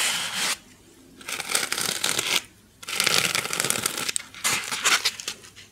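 A small white styrofoam (polystyrene foam) packing insert with a recessed cavity, made of solid light foam, is held close to the microphone and rubbed and scratched with long painted nails. Four bright, crackly, squeaky scratching bursts are separated by short near-silent pauses, with almost no low end.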